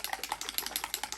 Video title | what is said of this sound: Asian Sunscreen Wear Test and Review - Best Sunscreens | You hear how watery that is. And you can hear the little ball bouncing around in there.